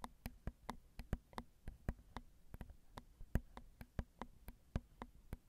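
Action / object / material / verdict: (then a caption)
tap / metal mesh microphone grille / metal mesh / none. Long acrylic nails tap the small hollow metal mesh grilles of a Zoom recorder's XY microphone capsules in about 23 separate taps. Each tap is a short, dry click that dies away almost instantly, with a heavy low thump and a brief bright edge. A faint steady low hum sits underneath.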